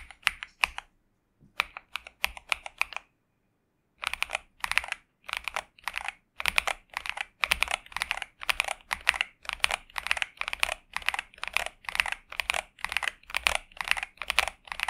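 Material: Plastic.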